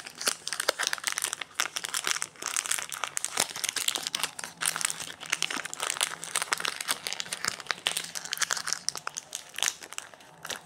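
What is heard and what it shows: Fingertips rub, press and crinkle the printed plastic wrapper and its crimped end on a solid white Protein Klex bar resting on a granite counter, with an orange bar lying untouched nearby. The result is a steady stream of dense, bright crinkling and sharp little crackles with no ring.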